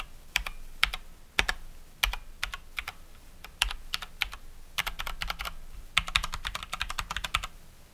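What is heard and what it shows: A COX Dauntless mechanical keyboard with Cherry MX Brown switches and plastic keycaps is typed on by one hand, pressing single keys with a fingertip until the hand leaves at the end. A quick, uneven run of short, sharp, bright clacks rises from near silence, each dying almost instantly, over a faint steady low hum.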